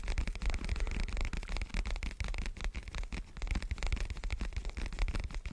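A large, dark, soft and porous foam windscreen covering a microphone is held with both hands and scratched and rubbed with the fingertips. The result is a dense, continuous crackling and scratching with a heavy, booming low rumble throughout.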